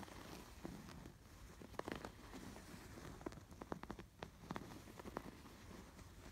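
Fingertips and nails scratch over the raised blue and yellow yarn embroidery on a cream woven canvas pillow. The result is a quiet, soft fabric rustle broken by short, crisp scratchy clicks as the nails catch on the stitches, over a faint low hum.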